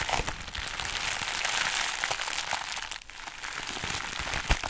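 A pink bubbly foam and plastic packaging sheet is folded and crinkled between fingers with long acrylic nails. It makes a steady, bright crinkling rustle with small crackles, a brief lull near the three-second mark, and a sharp click near the end.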